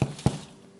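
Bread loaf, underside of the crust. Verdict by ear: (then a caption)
Hollow. Two dull, low thuds sound as the bottom of a rosemary parmesan bread loaf is tapped after it is pulled from the oven at about 27 minutes and flipped over. The taps sound hollow with almost no ring, showing the loaf is baked through and done.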